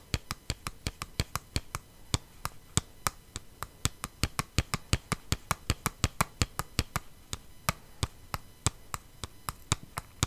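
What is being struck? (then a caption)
Flat cardboard palette box. A flat, hollow cardboard palette box with holographic foil is tapped rapidly with long nails and fingertips. About 45 short, dry taps land in an irregular stream, each with a low hollow thump and a bright clicky edge that dies away almost at once.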